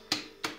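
An uncut watermelon is tapped twice by hand, giving two short, bright, high-pitched knocks with a slight ring. The clear, vibrating sound marks it as a proper, ripe watermelon.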